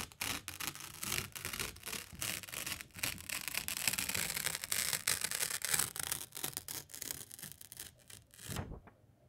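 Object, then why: Thin paper sheet. A single thin white A4 printer paper sheet, held by the fingertips of both hands, is bent, twisted and shaken back and forth close to the microphone. Dense, bright crinkling and crackling rustles come in fast, uneven bursts throughout. Near the end they settle into a soft, lower swish and then quiet.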